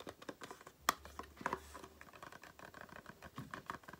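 Long painted nails tap and scratch the front and sides of a small, hollow, closed cardboard carton for Aloe face cream. Quiet, dry, papery taps and scrapes come in a quick, uneven patter, with a sharper, brighter tap near 0.9 seconds and another cluster around 1.5 seconds. Each sound dies away almost instantly, over a faint low hum.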